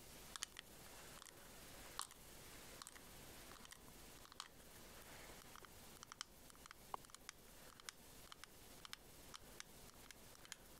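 A small white scallop-shell-shaped pearl case, hollow, closed and likely hard plastic, is held in the hands and tapped and scratched along its ridges with long nails. Quiet, sharp, bright clicks and taps come in irregular bursts over a soft, steady scratching hiss, each tap dying away almost instantly.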